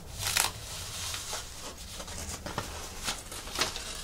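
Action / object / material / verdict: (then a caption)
scrape / thin plastic artificial leaf / plastic / none. A large, flat artificial monstera leaf of thin plastic or fabric is held over a wooden table while long nails and fingertips scratch and rub its surface and crinkle its edges. Bright, dry crinkling and scratching runs throughout, with four sharper bursts standing out against a low, steady background.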